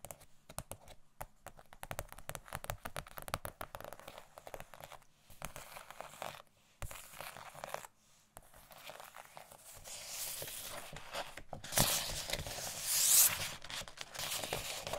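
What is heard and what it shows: Thin glossy paper sheets of Christmas gift-tag stickers are scratched and bent with long nails, producing dense, bright crinkling and scratchy rustling with brief pauses. The sound grows louder and more continuous toward the end.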